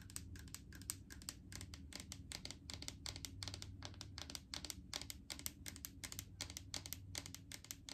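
Long painted fingernails tap and scratch on a large clear plastic jar full of coconut oil with a green lid. The result is a rapid, steady stream of crisp, bright clicks that stop short with almost no ring, over a soft low hum.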